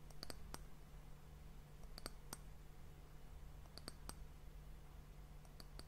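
Long nails tap the round, solid, glossy brown wooden end cap on top of a glass hourglass. They make sharp, bright little clicks in small clusters with short gaps between them. A steady low hum runs underneath throughout.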